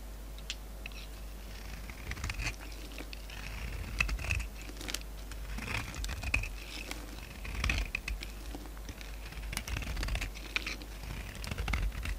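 An oval, palm-sized solid white bar of soap with a red rim is held in the hand while a utility knife blade scrapes thin shavings off its flat face. The scraping comes as soft, dry patters and crisp crinkly bursts with a bright edge centred around 2.6 kHz. The bursts rise and fall over a steady low hum.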